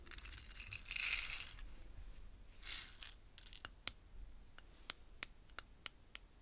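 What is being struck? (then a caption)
Small clear plastic bead jars with lids. Long painted fingernails scratch and tap on the top jar and lid of an upright stack of small clear plastic bead containers holding purple glass beads. Bright, hissy scratching and faint rattling come first, then another short scratch, followed by a run of sharp, clicky, high taps with quiet gaps between them.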